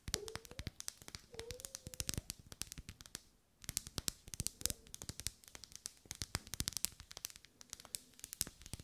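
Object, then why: Ribbed wax pillar candle. Long nails tap and scratch the ribbed surface of a lit, solid pink wax pillar candle held in both hands. Rapid, sharp, bright clicks come in dense bursts with faint squeaky scrapes early on, then a brief lull near the middle before the tapping resumes. Each tick is dry and dies away almost instantly.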